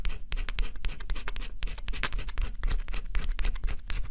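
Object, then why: Coated cardboard puzzle scratched with a stylus. A small stylus held in the fingertips scratches the black coating off a flat, thin coated-cardboard scratch-off jigsaw puzzle. Quick, irregular dry scraping strokes come in bright, crackly bursts over a steady low rumble.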